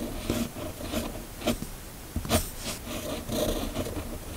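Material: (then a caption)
Paper. A red fountain pen with a metal nib, held in the fingers, scratches across a flat, thin sheet of white paper while writing cursive words. The sound is a soft, continuous dry scratching and rubbing, weighted toward the low-mids, with a few sharper, brighter strokes standing out along the way.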